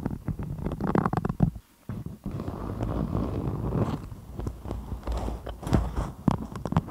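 A patterned, thin and stiff beeswax-coated cotton food wrap is draped over a microphone and gripped and scratched by both hands with long acrylic nails. Dense, low crinkling and scratching is heard, broken by a short near-silent pause around the second mark, then continuing with sharper crackles.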